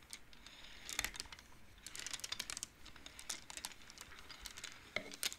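Fingertips and nails push colored wooden beads along the metal rods of a large wooden-framed abacus, making them clack together. Quiet, bright, dry clicks come in quick irregular clusters with almost no ring, over a faint crinkle-like texture.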